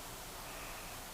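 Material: Nothing is struck.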